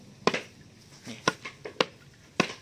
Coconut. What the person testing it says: itu suaranya pasti sudah beda guys.